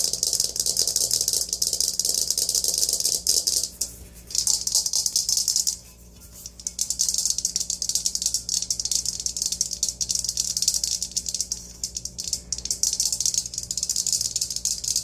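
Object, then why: Perforated aluminium colander. An empty, hollow, perforated aluminium colander is held up and tapped and scratched with long nails on both its inside and outside. The result is a dense, bright, rattling scrape with almost no low end, broken by brief quieter gaps around 4 and 6 seconds before the scratching resumes.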